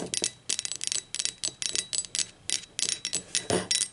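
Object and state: Ceramic mug tapped with fingernails.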